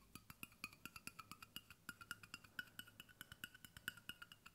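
A large, hollow brushed stainless steel water bottle, held sideways, is tapped with fingertips along its body and bottom in a quick, steady run of about 34 light taps. Each tap is a short, dry metallic tick that dies almost instantly, with a clear pitched ping around 1.5 kHz and a brighter overtone above it.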